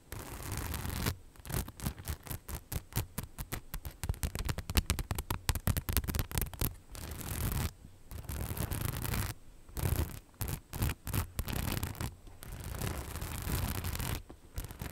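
Long nails scratch rapidly across the rhinestone-covered panel of a hollow, beige, rhinestone-studded faux leather bag. The result is dense bursts of gritty scraping with a low, boomy body and a bright, crackly hiss on top, broken by brief silent pauses between runs of strokes.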